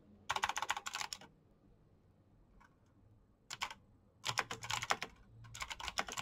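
Fingertips tap the keys of a black plastic backlit mechanical keyboard while typing, making quick bursts of bright, sharp clicks. The clicks come in fast runs separated by short quiet pauses.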